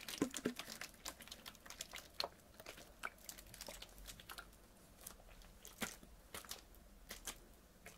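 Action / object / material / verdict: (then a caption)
tap / partly filled plastic water bottle / plastic / none. A medium clear PET water bottle with a blue cap and label, partly filled with water, is handled and squeezed with fingers and nails. The result is a quiet, close string of sharp crinkling crackles and clicks with bright, high-reaching snaps and a little low body.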